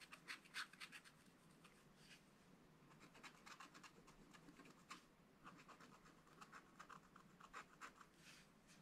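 A wooden stylus scratches fine lines into a black wax-coated scratch-art card page in a spiral book, etching a fish. Quiet, dry, irregular strokes follow one another rapidly, each a short bright rasp that cuts off almost at once, with very little low end.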